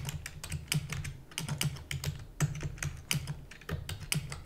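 Rapid typing with fingertips and long natural nails on a full-size black plastic computer keyboard with plastic keys and a hollow housing. A fast, uneven stream of sharp, bright clicks rides over a low, hollow thump from the housing, and each keystroke dies away almost instantly.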